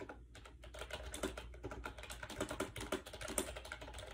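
Fingertips type fast on a compact gray plastic AJAZZ 308i wireless Bluetooth keyboard with round white keycaps, resting on a bed. Hollow plastic key strikes come in a quick, uneven stream of short, dry clicks with a mid-pitched body and bright edges, each dying away almost instantly over a low background hum.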